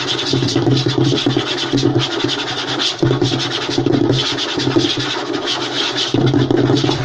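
Short fingernails and fingertips of both hands scratch and tap fast across a flat, light wooden tabletop. The result is a dense, continuous rasping texture with quick taps and a steady low, woody body, broken by brief dips in loudness between bursts.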